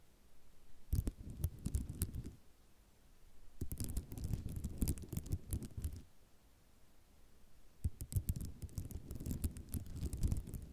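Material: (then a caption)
Ceramic. Long nails tap and scratch across a flat sheet of many small white square ceramic mosaic tiles lying on black cloth. Three bursts of quick, dense clicking and scraping rattle come with quieter pauses between them. The sound is low and dry with brief bright ticks and almost no ring.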